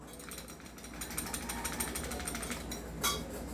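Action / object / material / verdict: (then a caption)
shake / airsoft gas pistol, metal / metal / loose. A stock, non-upgraded metal airsoft gas pistol is shaken and rattles loosely, with a rapid series of short, bright metallic clicks over a low background hum. A sharper rattle stands out near the end, and the looseness marks the pistol as not upgraded.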